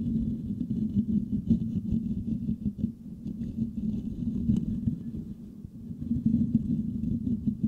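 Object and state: Metal microphone grille being scratched.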